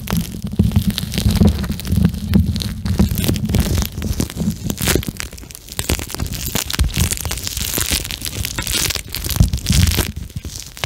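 Fingertips squeeze and rub a flexible pink plastic eye mask filled with gel beads close to a microphone. The result is a continuous, dense squishing and crunching with many tiny clicks and crackles, heavy in low rumble and with bright, grainy texture on top. The level pulses unevenly with the hand's motion, with a brief lull near the middle.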